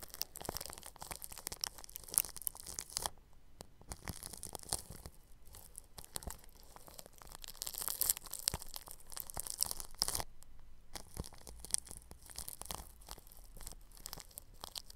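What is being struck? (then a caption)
Plastic cling film stretched over a microphone grille. A bristle paintbrush rubs over clear plastic cling film stretched across a round microphone grille. It makes dense, scratchy crinkling and brushing with bright, hissy highs and many quick strokes, with a few brief quieter gaps.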